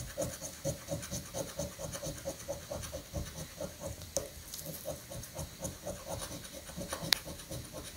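A coin scratches the latex coating of a thin paper scratch-off lottery ticket resting on a granite counter, working in short strokes. A steady, rhythmic run of dry, rasping scrapes carries a bright edge, with a couple of sharper ticks standing out near the middle and toward the end.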